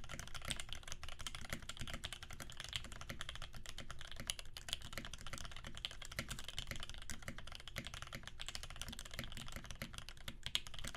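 Fingertips of both hands type rapidly on a Percent Canoe 65% mechanical keyboard with a clear acrylic case, aluminum plate, filmed Alpaca switches lubed with 3204, and cream PBT keycaps. A dense, steady stream of short, dry keystrokes pairs a deep thock with a brighter clack, each dying away almost instantly.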